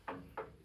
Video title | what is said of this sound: How to change expansion tank on a boiler system. #diy #plumbingtime #plumbing #viralvideo | if it's solid and filled with water, then it's done its job and it's time for a new one